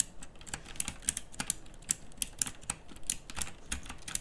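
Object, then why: Plastic mechanical keyboard with round keycaps. A plastic mechanical typewriter-style keyboard with pink backlighting and round plastic keycaps is typed on with fingertips and long nails. Sharp, bright clicks come in a quick, uneven stream, each dying almost instantly over a faint low rumble.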